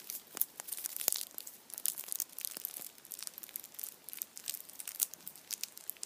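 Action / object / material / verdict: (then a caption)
scrape / chocolate bunny wrapped in aluminium foil / aluminium foil / none. A hand-sized Kinder chocolate Easter bunny in printed aluminium foil stands upright while its foil is crinkled and scratched with fingertips and nails. The result is a steady stream of quiet, bright, dry crackles and crisp ticks with no low end and almost no ring.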